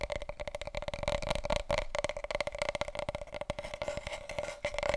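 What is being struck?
Large cardboard paper roll tube.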